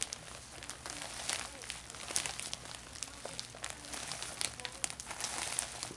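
A thin, empty orange plastic shopping bag is folded and unfolded by hand with painted fingernails. It makes a steady, bright, crisp crinkling with many quick crackles and soft rustles, mostly in the high range with very little low end.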